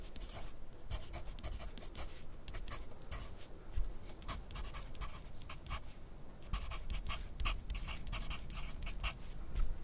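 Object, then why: Graphite pencil on paper sheet on a clipboard. A wooden graphite pencil is drawn across a white paper sheet clipped to a flat clipboard on a desk while writing. Quick, bright scratchy strokes come in short bursts over a steady low rumble. The strokes repeat with brief pauses throughout.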